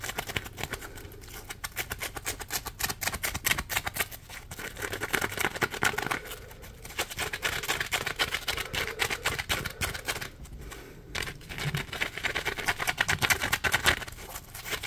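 Fingertips scratch and flick a solid, palm-sized, yellow ridged polymer foam Scrub Daddy sponge. The result is a dense, rapid stream of dry, bright scratching and crackling. Brief quieter pauses fall around 4, 6.5 and 10.5 seconds.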